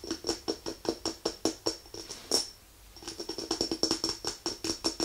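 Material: Glass.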